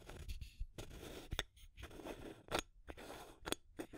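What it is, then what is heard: Plastic tube with aluminum screw lid. Long nails scratch along a small clear plastic tube container, then tap the top of its aluminum screw lid. The result is a dry, bright scratching texture broken by short, sharp clicks that die away almost instantly.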